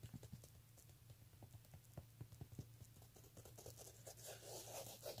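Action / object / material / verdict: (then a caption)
scrape / woven fabric clutch handbag / fabric / none. Fingertips with painted nails scratch and rub the surface of a vintage black woven-fabric clutch with a ruffled edge and metal clasp, lying flat and likely empty on a tablecloth. Quiet, irregular scratchy taps sound over a steady low hum, turning into a brighter, denser rubbing hiss in the final second.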